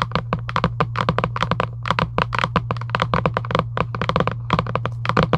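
Long acrylic nails tap rapidly on the lid of a giant UNO cardboard box lying flat. The taps are short, dry and hollow, with bright clicky tops and no ring. A steady low hum runs underneath throughout.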